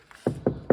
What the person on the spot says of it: порівняємо результат чуєте який глухий звук